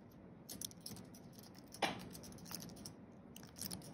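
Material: Plastic.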